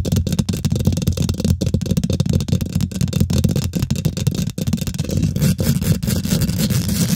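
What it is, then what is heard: Metal mesh microphone grille being scratched and tapped. Fingernails rapidly scratch and tap the hollow steel wire-mesh grille of a microphone head. The close-up sound is a dense, continuous rumbling scrape, mostly low and boomy, broken by quick dull taps with very little bright content.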